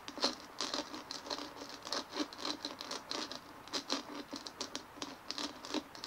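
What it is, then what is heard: Plastic bumpy ball. Long fingernails on both hands scratch and tap a large white dimpled plastic ball resting on a table. The result is a steady patter of quick, crisp ticks and scratchy rasps. The sound is bright and thin, with almost no low end, and each hit dies away almost at once.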